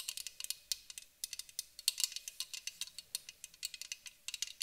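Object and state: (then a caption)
Aluminum aerosol can. A white aluminum aerosol spray can is tapped with long acrylic nails, first on the bottom and then along the side. A quick, uneven run of about thirty quiet, dry clicks comes through, each one bright and thin with almost no ring or low end.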